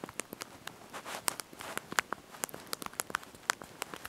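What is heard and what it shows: Thumbs and fingertips press and tap the small backlit plastic keys of a handheld slide-out QWERTY mobile phone keyboard while typing a message. The result is a quick, irregular run of sharp, dry plastic clicks with no ring, bright in tone, and centered around 1.5 kHz. Soft brushing sounds fill the gaps between the clicks.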